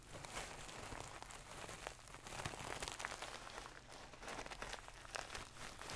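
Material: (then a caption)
Satin. A medium-soft stuffed pillow with a gold satin cover is scratched with long nails close to the mic, producing quiet, continuous scratchy rustling with a bright, crinkly texture. Soft, brief scrapes recur throughout the clip over a low background rumble.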